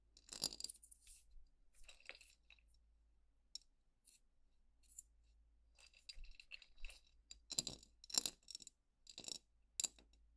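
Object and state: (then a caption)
Glass jar of paper stars tapped with nails. Long painted nails tap and scratch along the glass wall of a jar lying on its side, with a metal lid and full of folded paper stars. Quiet bursts of bright, crisp clicks and scraping come in irregular clusters separated by near-silence, each tap dying away almost instantly.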